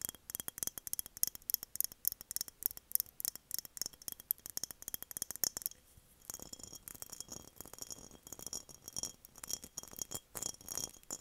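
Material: Glass.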